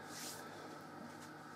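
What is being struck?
Nothing is struck.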